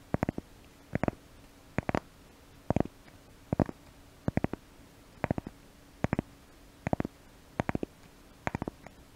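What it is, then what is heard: Cork piece scratched. A small brown cork piece is held in both hands close to the microphone and scratched with the fingernails. About ten short bursts of quick, dry scratching clicks repeat at regular intervals over a faint steady hum.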